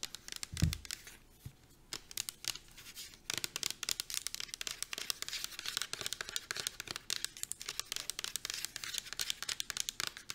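Long nails tap rapidly on the side of a pink plastic shampoo bottle, held upright and then turned sideways. The result is a dense run of quick, crisp, bright clicks with a brief low thump near the start.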